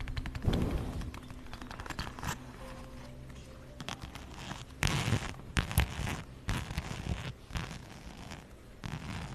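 A zip wallet with plaid fabric and brown faux-leather panels is held close to the microphone while long nails scratch and tap it, and the zipper may also be handled. The scratching and tapping come through as dense, crackly bursts with sharp, bright transients over a deep low-frequency body. The activity stays mostly steady, with louder clusters of taps partway through.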